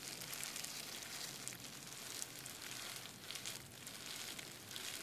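Fingertips and nails tap and scratch across the bubbles of a clear plastic bubble wrap sheet lying flat on a desk. The result is a steady, bright, crackly rustle with almost no low end, marked by small louder ticks throughout.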